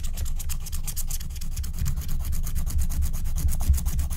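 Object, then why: Wax-coated scratch-art card and wooden stylus. A wooden stylus scratches rapid line strokes near the edge of a flat, thin, black wax-coated scratch-art card. The result is a steady, fast run of dry, rasping scratches, about four per second, with bright, hissy streaks over a constant low rumble.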